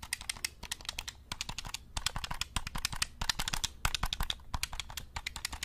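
A black hollow plastic game controller is held close to the mic while fingertips rapidly click its buttons and tap its shell. The clicks are sharp, dry and bright, with a soft low thud under each one, and they stop at once without ringing. They come in quick, uneven bursts throughout the clip.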